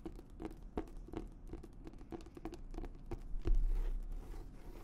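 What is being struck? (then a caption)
Leather-covered notebook. A hand-sized notebook with an embossed reddish-brown leather cover, held in both hands, is tapped and scratched on the cover with long nails. Soft, dull taps repeat at an uneven quick pace over a low, scratchy rustle, and a louder rough scrape swells near the end before fading.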